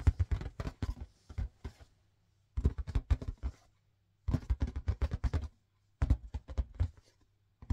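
An inflated yellow marbled latex balloon, hollow, air-filled and about head-sized, is held up and tapped with long painted fingernails and fingertips. Quick runs of soft, dull, low thumps come in four bursts separated by short pauses. Each tap has a deep, hollow boom and dies away almost instantly.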